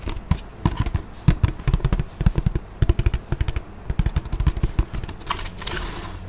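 A man holds a large, empty, clear ridged PET water bottle (about 1.5 L, white cap, blue label) in front of a microphone and taps it with his fingertips. A rapid, uneven run of short, dull, hollow thumps follows, mostly low in pitch with almost no ring. A brief brighter crinkle comes near the end.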